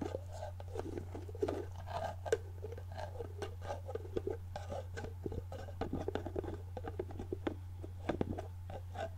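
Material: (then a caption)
Plastic. A medium clear plastic jar with a white plastic screw lid and a product label, apparently filled with solid contents, is held in hand while long painted nails tap, scratch and twist the lid. The result is a quiet, steady stream of short plastic clicks, taps and scratchy rustles over a constant low hum.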